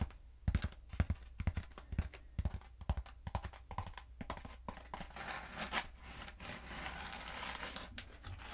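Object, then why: Foam pool noodle tube. Long acrylic nails tap and scratch along a long, black, hollow foam pool noodle held diagonally. Quick, uneven dry taps with squeaky, papery scratches come first, then settle into a steadier, brighter rasping scrape over the foam.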